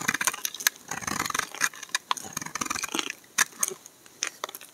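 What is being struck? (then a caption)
Bar of laundry soap shaved with a knife blade. A solid bar of amber laundry soap is held upright while a utility knife blade repeatedly shaves its edge. Bright, crisp scraping clicks and cuts come in quick irregular bursts with short rustling shavings between them. Some strokes stand out with a sharp, bright snap.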